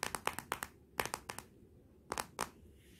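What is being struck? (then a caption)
Glass smartphone back. Long nails tap 12 times on the glossy glass back of a Motorola smartphone lying face down, in uneven bursts with pauses between them. Each tap is a short, dry click with bright, crisp upper tones and almost no ring.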